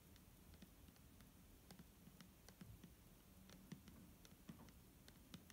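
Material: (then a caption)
Plastic. A clear plastic micellar water bottle filled with liquid is tapped and scratched with fingernails. Soft, quiet taps and light scratches patter irregularly over a low, dull body tone, with faint bright clicks on top. Each tap dies away almost at once.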